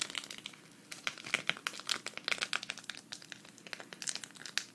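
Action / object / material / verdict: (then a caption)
scrape / sequin fabric patch / sequins / none. A flat, thin, hand-sized green sequin cactus patch, held at the right, is scratched with long red fingernails. It makes a quick series of bright, crinkly scratching ticks and rasps that stop short, with almost no low end.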